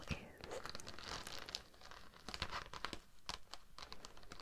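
A thin, flexible, iridescent pink-teal holographic vinyl mermaid-scale sheet with an embossed scale texture, draped over a dummy-head microphone, is scratched and tapped with the long acrylic nails of both hands. The result is close crinkly scratching and rustling broken by sharp, bright taps and clicks over a soft low rumble.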